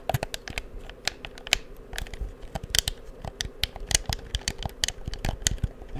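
Fingertips click the buttons and sticks of a black, hollow, handheld plastic PS4 game controller close to the microphone. A rapid, irregular series of sharp, dry plastic clicks and taps follows, each bright and very short with almost no ring, over a faint low rumble.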